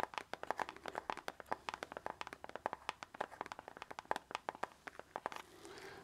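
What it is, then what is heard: Plastic CD jewel case. Fingertips tap and handle the surface of a small, hollow plastic CD jewel case held in both hands. About 39 quick, dry clicky taps come in a steady stream, each with a brief hollow tone near 870 Hz. The tapping gives way to a soft, brighter rubbing and handling noise at the end.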